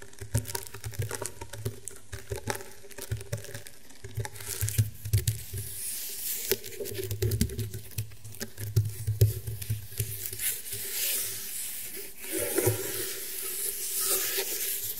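Painted medium-length fingernails tap and scratch across the weave of a flat, round table mat made of coiled woven rattan fibre. The result is a steady, dry patter of quick, crinkly taps with a soft low thump beneath. Bright, rasping scratches swell in between, and each tap dies away almost at once.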